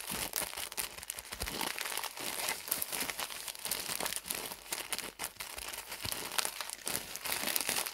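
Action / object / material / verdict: scrape / pad package in thin plastic film / plastic film / none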